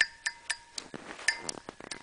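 A Duralast molded plastic composite water pump impeller with molded-in vanes, for a BMW 330i (E46), is tapped and thumped for comparison with a Graf stamped metal impeller. A series of quick, bright clinks ring briefly around 1.8 kHz and die away almost at once. They sound somewhat metallic, but the short, dull decay reveals the composite plastic.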